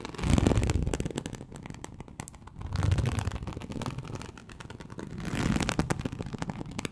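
Very long acrylic nails on both hands scratch across a large, flat, teal snakeskin-embossed leather sheet (likely faux) lying on a surface. The result is a dense, crackly scraping with a low rumbling body that swells in three slow waves, peaking around 0.4, 3 and 5.5 seconds.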